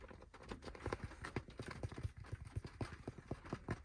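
Fingertips and nails scratch and tap quickly on the crown and brim of a dark grey cloth baseball cap resting on a lap. The result is a rapid, uneven series of soft, dull thumps with short scratchy rustles between them, muffled and weighted toward the low end with almost no ring.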